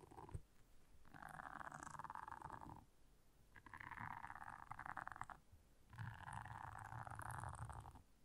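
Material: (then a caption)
Silicone. Long nails scratch across the bristles of a blue silicone scrubber pad in three sustained passes. Each pass is a dense, raspy scratching concentrated in the mid range, over a soft low rumble, with quieter gaps between.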